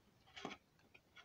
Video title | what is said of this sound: Arac Attack braucht eine Blu-ray | die Disc fliegt jetzt los hier umher